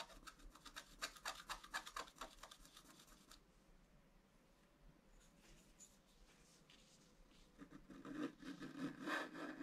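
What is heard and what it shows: A wooden stylus scratches an antler design into a flat scratch-art card of black coated paper. A quick run of dry, raspy strokes fades into a quieter stretch of soft scraping, then louder, brighter scratching returns at the end.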